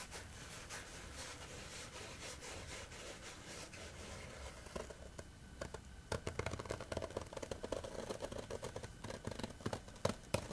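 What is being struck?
Coarse woven fabric.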